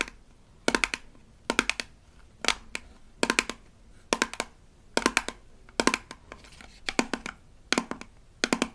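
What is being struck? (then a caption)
Small rigid plastic toy toothpaste tube. Long nails tap and scratch along the labeled body of a small rigid plastic toy toothpaste tube from a Melissa & Doug Super Smile Dentist Kit. Quick bursts of sharp, clicky taps repeat roughly every second, each dry and bright with almost no ring, and a faint scratchy rustle fills the gaps between them.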